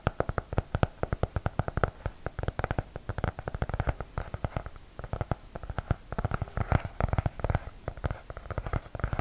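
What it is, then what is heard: Hardcover notebook, tapped. A medium-size blue hardcover notebook with a cardboard cover and an elastic band, closed and held upright in both hands close to the microphone, is tapped with fingertips along its cover and edges. Quick, dull, low-pitched taps come in a dense, uneven stream throughout, each dying away almost at once.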